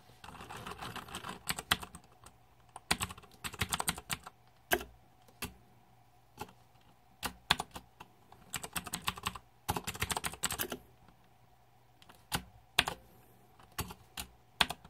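Fingertips type quickly on the plastic keycaps of a green-backlit Razer 2014 Deathadder mechanical keyboard. Sharp, bright clacks come in rapid bursts separated by short pauses, each dying away almost instantly, with a faint steady hum underneath.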